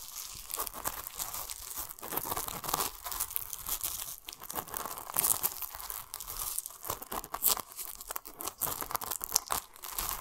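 Fingertips scratch and rub the plastic mesh net around a large, solid whole pomelo with a yellow tag. The result is a steady stream of bright, dry crinkling and scratchy rasps, with quick, uneven bursts and almost no low end.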